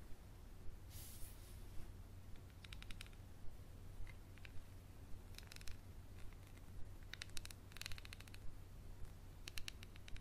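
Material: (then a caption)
Glass. A small textured glass bottle with a paper label and black cap, which appears to hold some liquid, is held in the hand and tapped and scratched with a wooden pencil. Around thirty quiet, short, bright clicks and brief scratchy bursts come at a fairly steady pace over a constant low hum.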